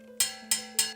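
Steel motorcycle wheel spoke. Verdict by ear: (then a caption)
Loose. A steel motorcycle wheel spoke, tightened only partway to about half its torque spec, is tapped three times. Each tap gives a short, bright click that dies out quickly, a dead sound rather than the ringing ting of a properly tight spoke. The spoke is still under-tightened.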